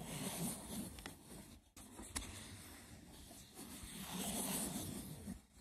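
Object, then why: Woven seagrass wicker box. Fingertips and nails scratch the textured top of a hollow, braided woven seagrass wicker box, making a dry, rustling scrape with a low hollow body. A few sharp clicks stand out against the steady, bright scratching, which swells and fades throughout the clip.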